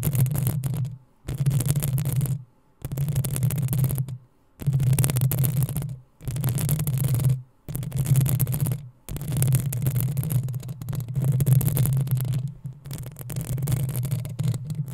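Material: Metal mesh.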